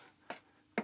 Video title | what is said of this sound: Climbing Great Buildings - 6. Burghley House (BBC) | tap it and tap it and you can hear it ringing